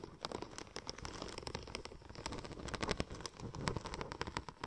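Long nails scratch and tap the embossed tread of a curved, silver checker-plate-pattern vinyl wrap sheet. The result is a quick, dense run of dry, crackly clicks and scrapes with bright edges over a low rumble, each tap dying away almost instantly.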